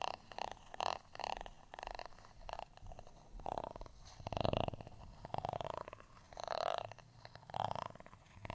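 A flat, solid, textured beige plastic rice paddle, held by its handle, is scratched with a black tweezer-like tool. It makes a quiet series of rasping, ridged scratching strokes in repeated swells, with a grainy midrange tone and a bright crackly edge.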